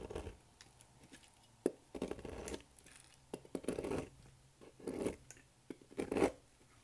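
A thin metal blade cuts a solid, oval, blue-striped bar of dry soap held in the hand over a table, shaving it into brittle flakes. Short, irregular bursts of dry, crisp scraping and crackling come with brief pauses between them over a faint low hum.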